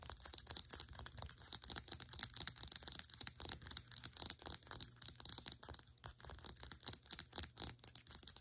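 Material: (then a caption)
Plastic. Long nails tap and scratch a small, hollow, cylindrical HiSmile plastic serum pump bottle with a white cap. The result is a rapid, continuous stream of crisp, bright clicks and scratchy ticks, concentrated almost entirely in the high frequencies. Each tap is dry, with no ring.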